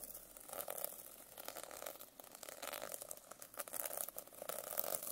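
A silver pen tip scratches and taps quickly across the rainbow sequin cover of a medium hardcover notebook lying flat. The result is a continuous, dense, bright rustling clatter of tiny clicks with almost no low end, steady and quiet throughout.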